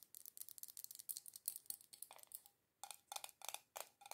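Long acrylic nails rapidly tap and scratch the black metal screw lid rim and the glass of a small glass jar candle filled with solid red wax. About 23 quick, bright, clicky taps come in an uneven rhythm, broken by a brief pause before a final run of sharper taps with a faint ring.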